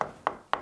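Three short, dry knocks by hand on wall plaster over brick near a door frame give sharp, clipped taps centered around 1 kHz that die away almost at once, with no hollow ring. The solid sound means the plaster here is still bonded to the brick.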